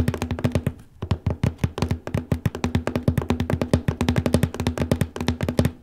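Fingertips tap steadily on the large cardboard lid of a copy paper box, near the lower middle of the lid. About forty quick, dull, hollow taps sound low and boxy with a short decay, and the rapid rhythm breaks only briefly near the one-second mark.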